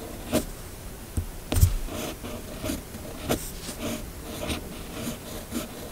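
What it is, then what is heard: Paper being written on with a fountain pen. A red fountain pen with a metal nib scratches across a flat, thin sheet of white paper while writing cursive words, fingers holding the pen. Soft, dry scratching strokes come in short bursts with brief bright edges over a quiet low background.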